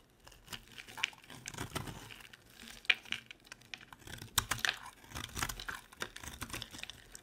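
A utility knife blade repeatedly shaves and scrapes dry chips off a solid, perforated orange soap bar held in the palm. The result is a quiet run of crisp, crinkly scrapes and small crunches, bright and dry with almost no ring, with a few sharper cuts standing out.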